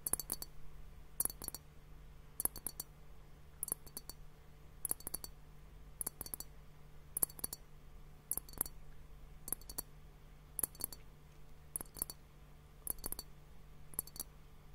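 Fingernails tap on both bulbs of a large, clear, hollow glass hourglass filled with bubbly pink liquid, held horizontally. Quick clusters of bright, sharp clicks repeat about once a second with almost no ring. A steady low hum sits underneath.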